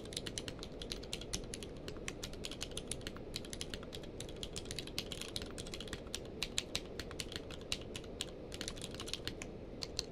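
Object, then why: Plastic mechanical keyboard. Both hands type rapidly with their fingertips on a full-size mechanical keyboard with a blue-grey case and white and grey plastic keycaps, lying on a blanket. Quick, bright plastic clicks with almost no ring patter steadily over a dull low background hum.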